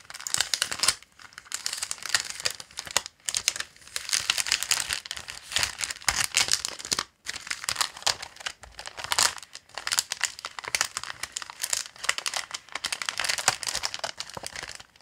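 A large, thin, flexible sheet of clear acetate with a black floral print is lifted, flexed and crinkled by fingertips and the hand. It makes a continuous run of rapid, bright crinkles with many sharp onsets. The crinkling drops briefly around 1, 3 and 7 seconds.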